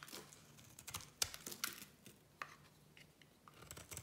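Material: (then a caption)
Soap. A solid bright green soap bar is shaved and cut with a small metal blade, giving a run of quick, crisp scraping and crackling clicks. The sounds are dry and bright with almost no low end, the sharpest snaps standing out near the middle of the clip.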